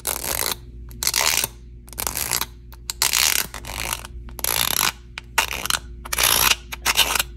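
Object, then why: Plastic fidget sensory bar. A long painted fingernail scratches and slides along the bumpy surface of a small handheld rectangular plastic fidget sensory bar with a lime-green textured insert and a clear blue frame, and works its metal-look slider. Bright, rapid ratcheting clicks come in bursts separated by short quieter pauses.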